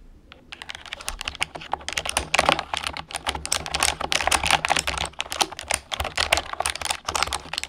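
Fingertips with long painted nails rapidly type on a full-size orange plastic computer keyboard resting on a wooden desk. Dense, bright clicking and tapping comes from the hollow key switches, each stroke short and crisp with almost no ring, over a faint low steady hum.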